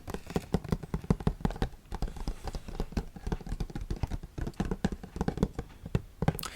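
Fingers tap rapidly on the cardboard box of a Pepe Jeans Celebrate cologne, which has a graded gold and blue design with a metal-stud pattern. The taps are quick, dull, and low-pitched with almost no ring, coming in dense bursts with brief pauses.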